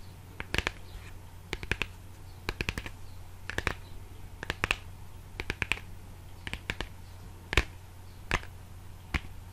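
A small, hollow, printed brown cardboard product box is held in one hand and tapped and scratched with the fingertips and nails of the other. Slow clusters of short, dry, crisp taps with light scratching are spaced out over a steady low hum.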